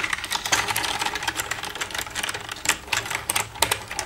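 Long red nails tap rapidly on the keys of a black plastic computer keyboard. The result is a steady stream of crisp, bright, clicky taps that stop almost instantly, with hardly any low end.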